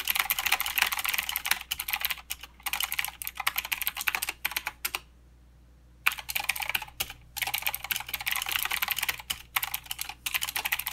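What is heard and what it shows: Both hands type with the fingertips on a mechanical keyboard with plastic keycaps and clicky blue switches. Fast, dense bursts of bright, sharp clicks come with very little low-end and stop for about a second of near silence midway before the typing resumes.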